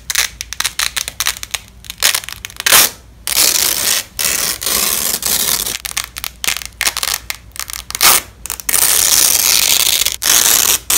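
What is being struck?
Nylon hook-and-loop tape.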